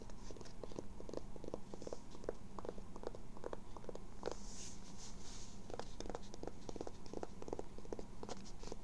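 Long nails scratch the fabric and the embroidered logo of a grey-blue cotton twill baseball cap with a hollow crown, held up close. A steady run of quick, dry scratching strokes sounds over a constant low rumble that fills most of the energy.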